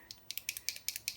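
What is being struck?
Small liquid eyeliner bottle with mixing ball.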